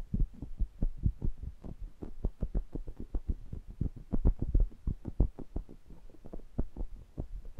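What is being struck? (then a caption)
Metal mesh microphone grille. Fingertips with short nails tap and touch the metal mesh grilles of two identical small pencil condenser microphones with metal bodies, held in a stereo pair. A rapid, uneven series of dull, boomy low thumps follows, each cutting off almost instantly with no ring. Faint soft brushing fills the gaps between taps.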